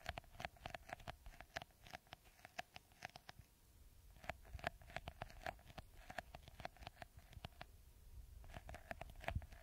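Fingertips and nails scratch and tap the small green textured beads covering the top of a clear, hollow, hand-sized plastic bottle held upside down. A quiet, rapid, irregular stream of short, crisp clicks and taps with a soft scratchy texture continues throughout, over a faint steady low hum.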